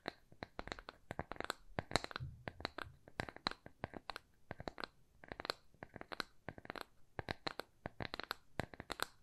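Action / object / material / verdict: tap / thin plywood coaster / plywood / none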